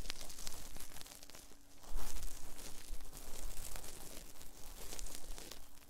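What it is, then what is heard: Cotton swabs rubbing silicone microphone ears. Cotton swabs held in both hands rub and scratch inside the ear canals of the soft silicone ear molds of a binaural 3Dio microphone. It makes a continuous stream of close, muffled scraping and rustling with strong low-end rumble, growing louder around the two-second mark before settling. A faint steady hum runs underneath.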